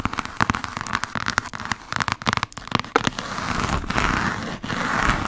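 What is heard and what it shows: Long acrylic nails from both hands rapidly tap and scratch the spine of a thick, solid hardcover book of Jane Austen's complete novels, held vertically with the spine facing the mic. Quick, dry clicks crackle in dense bursts over a continuous scratchy rustle, with the scratching thickening into a steady hiss in the last few seconds.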